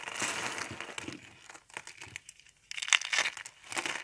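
Fingers crush hollow rolled spirals of thin, dry multicolor soap into flakes. The result is a run of dry, crinkly, bright crunches and crackles with almost no low end, a quieter stretch in the middle, then a louder burst of crunching.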